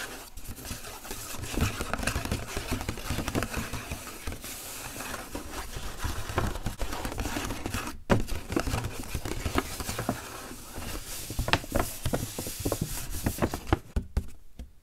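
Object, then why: Coated paper gift bag. Fingertips and nails tap and rub the sides of a flamingo-printed coated paper gift bag held upright. Soft, dense taps, crinkles and scratchy rubbing run throughout, with a steady low-frequency rumble underneath and a few sharper louder taps.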